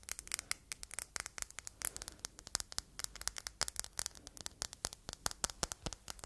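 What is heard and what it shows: Long red nails tap and scratch the face and faceted sides of a palm-sized solid red glass heart paperweight as it is turned in the hands. About forty quick, sharp, bright clicks and scratchy ticks sound in a dense, irregular stream over a faint hiss. Each stops almost instantly with no ring.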